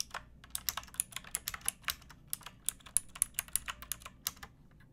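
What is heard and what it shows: Fingertips with long painted nails type on a pink plastic typewriter-style mechanical keyboard with round plastic keycaps. About 25 sharp, bright clacks come in an uneven, steady rhythm, each dying away almost instantly over a faint low background hum.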